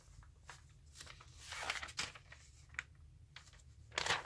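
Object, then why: Glossy paper magazine. Fingertips and a palm press and rub along the pages of an open, thin Bloomberg Businessweek-style glossy paper news magazine lying flat on a glass table, creasing them, before a page is lifted and turned. Bright, crinkly rustles and sharp paper crackles come in short bursts over a faint low hum. The loudest crunch builds around the middle, and a final crackling swell comes as the page turns.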